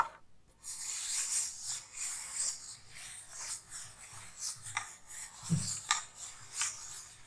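A round, hollow metal tin with a gold lid is held close and scratched and tapped with long nails. Bright, hissy scratching runs throughout, with short, sharp taps that cut off almost at once, one of them carrying a dull low thump.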